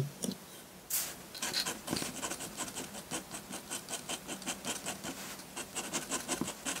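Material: Paper.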